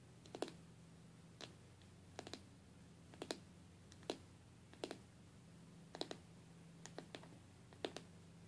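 Long, dark-painted fingernails tap and scratch the side glass panel of a stained glass box. They make sharp, bright clicks in quick pairs and small clusters, spaced about a second apart. The clicks are dry with almost no ring, over a faint, steady low hum.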